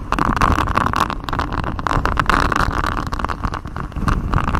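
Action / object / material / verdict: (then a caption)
scrape / silicone honeycomb-textured microphone cover / silicone / none. Fingers in black knit gloves scratch a flexible grey silicone mic cover, a rubbery sheet with a raised honeycomb hexagon pattern wrapped around the microphone. The result is a dense, continuous rasping scratch over a heavy low rumble, with a steady midrange tone near 1.1 kHz and very little high content.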